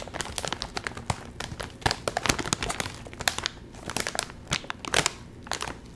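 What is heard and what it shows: Fingertips crinkle a full Doritos chip bag made of metallized plastic film and pull at its top seam. Dense, bright crackling and crinkling comes in rapid bursts with sharp spikes, each snap dying away almost instantly over a faint low rustle.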